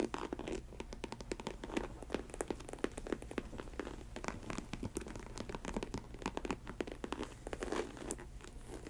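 Long white acrylic nails tap and scratch the white and black snake-print synthetic leather upper of a hollow, empty Chelsea-style faux snakeskin ankle boot with a black elastic panel and a chunky black rubber sole, resting on a table. Rapid, dry clicks and scratchy rasps follow one another closely over a steady low hum, each tap dying away almost at once.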